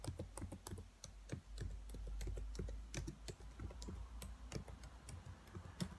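Long white nails and fingertips tap the hollow black plastic key caps of a laptop keyboard. The result is a quick, uneven run of short, dry clicks that die away almost instantly, with a low thump under each tap and a faint bright tick on top.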